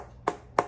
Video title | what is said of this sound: How to tell if a pomegranate is ripe | And if you thump on it, it's got a little bit of a hollow sound. If you hear that hollow sound, then your pomegranate should be ready to eat.